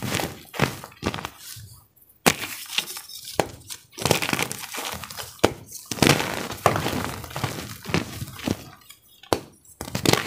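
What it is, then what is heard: Gym chalk block being crumbled. A white, solid, roughly fist-sized chunk of compressed cornstarch gym chalk is held in both hands over a pile of chalk powder and squeezed and crumbled with the fingertips and thumbs. It breaks apart in a run of sharp, crunchy cracks and snaps with short, bright, powdery crumbling between them and brief quiet gaps.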